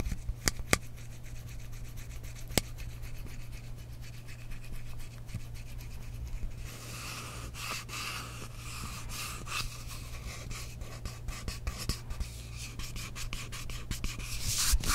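Long nails scratch and rub the textured surface of a tall frosted glass mist bottle that is partly filled with liquid. Fine, dry scraping and rubbing strokes run throughout over a steady low hum, growing brighter and denser in the second half, with a few sharp clicks scattered across the clip.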